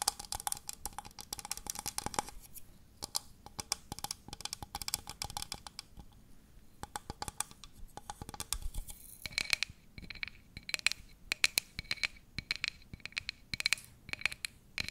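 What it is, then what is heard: Plastic cup tapped and scratched. A tall, hollow, empty clear-pink plastic cup is tapped and scratched with long nails close to the microphone. Rapid, dense clicks and scratchy strokes dominate the bright high range, with short dry hits and a hollow tone near 2.3 kHz in the later taps. The tapping comes in quick bursts with brief pauses between them.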